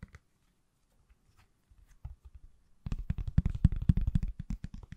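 A pale green, hand-sized solid silicone/plastic case on an iPhone is held sideways and tapped on the back with fingertips and nails. A few quiet, scattered taps come first, then the tapping turns into a fast, louder flurry of short, dull, low-pitched knocks with no ring.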